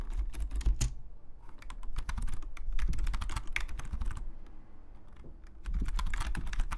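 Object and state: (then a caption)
Plastic computer keyboard. Fingertips of both hands type on a black, full-size plastic Logitech membrane keyboard lying flat on a desk, its hollow plastic keys tapping in a fast, steady stream. The taps are short, dry clacks with a dull low thump beneath brief bright clicks. The typing softens briefly near the end before picking back up.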